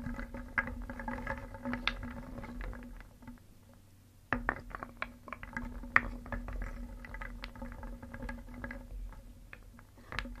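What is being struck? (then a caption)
Small painted wooden pieces in a wooden bowl. A wooden spoon stirs small, solid painted wooden pieces in a round wooden bowl, making a dense patter of light, dry clicks as the pieces knock together. The stirring eases into a quieter stretch around the middle, then resumes with sharper, louder knocks over a faint steady low hum.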